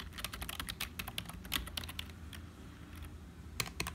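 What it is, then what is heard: Plastic computer keyboard being typed on. Fingertips type on a black HP plastic membrane keyboard with hollow keys, producing rapid, bright, dry clicks that stop almost instantly over a low steady hum. After a quieter stretch, a finger taps single keys at the lower right, giving a few sharper, isolated clacks near the end.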